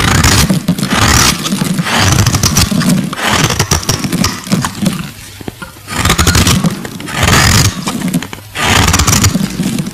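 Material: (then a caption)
Glycerin soap. A solid translucent purple glycerin soap bar, held in the fingers, is scraped and carved with a metal blade as flakes fall away. Repeated bursts of coarse, crackly scraping come with a strong low rumble and bright hiss, separated by short quieter gaps.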